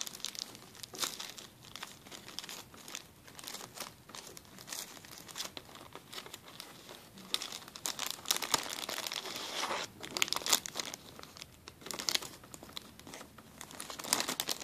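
A clear plastic zip-lock bag is rubbed flat by fingers, then crinkled and lifted. It gives a steady stream of bright, dry crinkling and crackling with almost no low end. The sound swells in denser bursts through the second half, and each crackle stops instantly.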